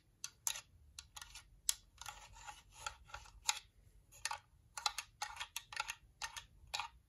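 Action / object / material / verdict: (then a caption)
scrape / hollow plastic nail lamp / plastic / none. A white, hollow plastic UV nail lamp is rubbed and scratched with fingers and nails. The result is a quick, irregular series of short, dry, bright scratching and tapping sounds. Each one stops almost instantly, with very little low end.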